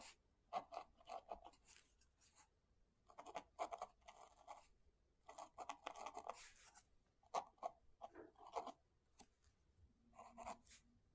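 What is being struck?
Metal pen nib on a paper book page.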